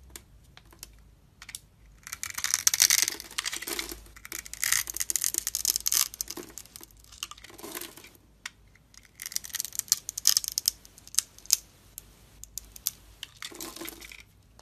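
A solid dark blue oval soap bar is held in the hand while its scored translucent layer is cut into small cubes with a metal utility knife blade. Crisp, bright clicking cuts come in dense bursts separated by brief quiet pauses. The sound is almost entirely high-pitched, with very little low end.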